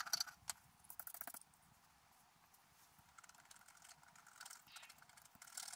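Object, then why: Wax-coated scratch art paper scraped with a wooden stylus. A wooden stylus scratches details into the coating of a flat, black-coated scratch art sheet lying on a table. Quick, bright, papery scratching strokes come in a burst at the start, fade to faint, steady scraping in the middle, and build to louder strokes again at the end.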